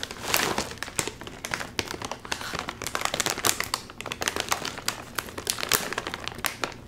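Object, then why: Metallized plastic film chip bag. A full Doritos chip bag of crinkly metallized plastic film is held upright while fingertips pull and crinkle its top seam. Dense, bright crackling and crinkling rustles run continuously, with sharp, quickly fading snaps and almost no low end.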